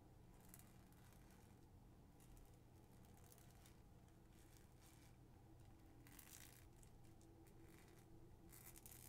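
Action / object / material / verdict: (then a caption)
scrape / thin plastic cellophane bag / plastic film / none. Long acrylic nails crinkle and scratch a clear plastic cellophane gift bag printed with stars and moons, tied with a white ribbon and with something inside, while both hands hold it. Soft, continuous crackling and scratching runs throughout, with brighter crinkly bursts over a steady low hum at a quiet, even level.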